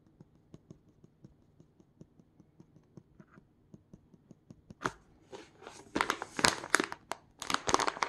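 Hard black plastic claw tips scratch and tap the surface of a small semi-transparent plastic retail pouch holding a phone case. For the first few seconds, quiet, fairly steady clicking taps repeat. Then louder bursts of bright, crinkly plastic scratching and rustling take over.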